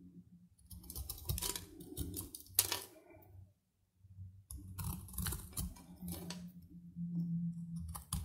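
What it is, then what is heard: Dry soap bar. A metal knife blade scrapes and shaves curls off the end of a whole, palm-sized rectangular bar of dry, red-coated Tiffany soap held in one hand, and the shavings fall onto a dark surface. Bursts of dry, crisp scraping and crackling strokes with bright edges sound over a low steady hum, broken by a brief near-silent pause partway through.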